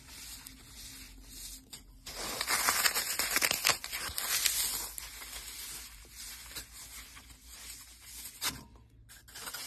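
Fingertips and short nails press into a dry, unsoaked green floral foam brick, a solid block of lightweight porous phenolic foam, tearing it and crushing it into crumbs over a metal bowl, while a brown sahara foam block sits beside it untouched. Bright, crisp crunching and tearing build into a dense, loud burst in the middle, then ease into quieter, scattered crumbling with a few sharp crackles near the end.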